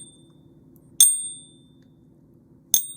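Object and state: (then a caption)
Genuine silver coin, clear ring. A silver coin resting on a hot pink Pocket Pinger is tapped twice as a non-destructive ring test. Each tap gives a bright, high-pitched ring that fades over about half a second. The clear, unmistakable ring is the normal result for silver.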